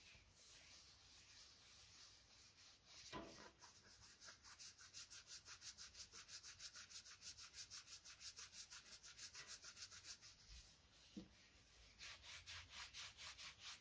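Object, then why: Medium plastic bottle. A medium, hollow white plastic bottle is rubbed and scratched along its surface with fingertips and short nails. It makes a quiet, bright, steady scratching that pulses in quick rhythmic strokes, about two per second, with a couple of sharper knocks along the way.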